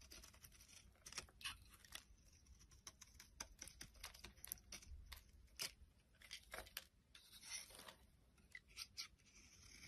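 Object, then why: Soap bar scraped with a metal blade. A metal utility blade scrapes and shaves a solid, hand-sized rectangular yellow bar of soap into curly flakes. Quiet, dry, crisp scraping and shaving strokes come in irregular bursts of bright, papery rasps over a faint low hum.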